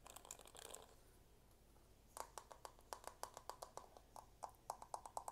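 Fingertips and nails work a held-up plastic paddle hairbrush with a marbled dark plastic back, first with a quick, bright scratching flurry across the bristle side. After a brief quiet pause, a steady run of sharp, dry clicks follows as they tap the plastic back, each click short with a hollow tone around 870 Hz.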